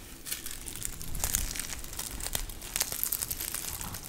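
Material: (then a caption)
Fabric, plastic film. A long grey spotted plush snake dog toy, soft and flexible with crinkle material inside, is squeezed, scrunched and scratched with long nails. A steady stream of bright crinkling and crackling rustles over a soft low rumble, with sharper crackles standing out along the way.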